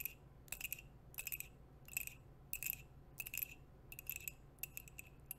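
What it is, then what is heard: Ceramic coffee mug tapped with nails and rings. A white ceramic coffee mug held in both hands is tapped with long nails and metal nail rings. Quick bursts of bright, high clicks and light clinks come in irregular clusters, each dying away almost instantly over a faint low hum.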